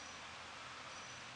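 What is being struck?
Nothing is struck.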